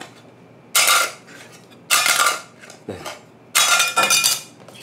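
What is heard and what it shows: A red Hyundai Card the Red Edition 4 credit card, made of metal plate material, is dropped or tapped several times to show it sounds different from an ordinary plastic card. Each contact gives a clear, bright metallic clink that rings briefly and fades.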